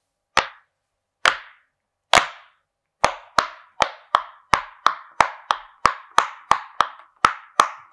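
Fingertips of both hands press a flat, hand-sized rainbow silicone pop-it fidget toy shaped like a game controller, popping its hollow bubbles one after another. Seventeen short, dry pops with a hollow, mid-pitched snap decay almost instantly, spaced slowly at first and then coming in a quicker, steady rhythm.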